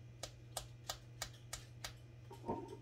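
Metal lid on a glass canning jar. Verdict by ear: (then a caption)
Sealed. A metal lid on a sealed glass canning jar of cream cheese is tapped seven times, for contrast with an unsealed pickle jar. Six evenly spaced, crisp, bright ticks ring out briefly, followed by a heavier, duller knock at the end. The lid sounds sealed.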